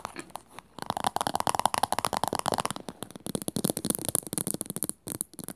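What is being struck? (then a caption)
Small plastic cylindrical container. A small hollow teal plastic cylindrical container stands upright while long nails rapidly tap and scratch its flat top and rim. The result is a dense run of fast, dry clicks and scratchy rasps, with a faint hollow tone and no ring after each hit, broken by a few short pauses.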